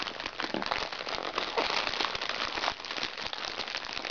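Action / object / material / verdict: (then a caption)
scrape / plastic makeup bag / plastic / none. A small, crinkly recycled plastic makeup bag is scratched with fingernails, then pressed flat and crinkled with both hands. The result is a dense, steady crackling and rustling that is bright and crisp, with almost no low end.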